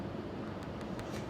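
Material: Nothing is struck.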